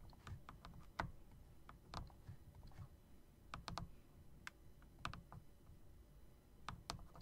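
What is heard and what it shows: Fingertips press and tap the keys near the spacebar of a backlit, plastic and metal typewriter-style mechanical keyboard with round keycaps. Irregular bursts of sharp, bright clicks stand out over a steady low rumble, and each click dies away quickly.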